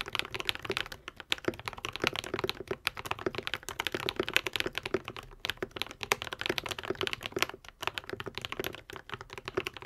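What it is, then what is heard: Mechanical keyboard with plastic keycaps. A modded white and pink 75% Epomaker TH80 mechanical keyboard with Akko V3 Cream Yellow switches and plastic keycaps is typed on continuously with the fingertips of both hands. The result is a rapid, dense stream of short, bright clacks with almost no ring and very little low end.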